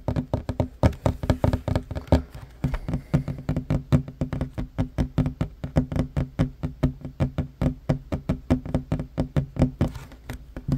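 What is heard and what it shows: Fingertips and short nails of one hand, then both hands, tap rapidly on the edge of a solid wooden tabletop. The result is a steady stream of dull, low knocks with almost no ring, mostly deep thuds with little brightness.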